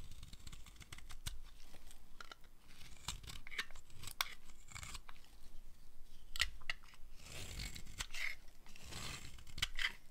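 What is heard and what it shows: A small metal blade cuts and scrapes shavings off a solid, hand-sized blue-and-white dry bar of soap. Close, crisp crunching and scraping strokes repeat steadily throughout. Each stroke is short and dry with almost no ring, and bright crackle sits over a low, dull body.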